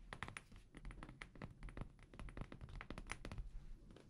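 A small amber glass perfume bottle with a paper label and black cap is held sideways in both hands and tapped with fingertips and nails. It gives a rapid, uneven run of quiet, dry taps and clicks, each with a soft low thump and a bright tick that dies away almost at once.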